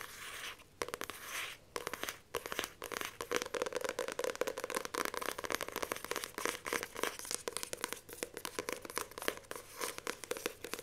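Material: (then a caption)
Card. Long nails tap, scratch and grip the glossy card cover of a paperback book held up in the air. Rapid, dense bursts of crisp, crinkly scratching and sharp taps follow one another with almost no ring, bright and papery with a faint hollow tone around 400–500 Hz and almost no low end.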